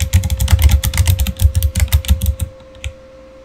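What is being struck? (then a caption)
Plastic mechanical keyboard. A backlit Razer Fire mechanical keyboard with plastic keycaps is typed on with the fingertips of both hands. A quick, uneven run of deep, thocky keystrokes with bright clicky tops plays over a faint steady tone. The typing stops around two and a half seconds, followed by one last soft tap.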